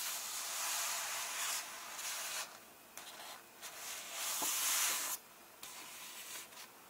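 Flat hands and fingertips rub across the paper pages of an open paperback illustrated book held on one illustrated spread. The result is a bright, hissy scraping with no low end, coming in several sustained swells that drop to quieter gaps between strokes.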